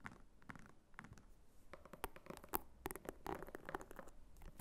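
Long nails scratch across the textured flap and top of a small red croc-embossed faux leather clutch. The sound is a quiet, dry patter of scratchy rasps and brief crackling clicks, some bright and sharp, with no ringing after each stroke.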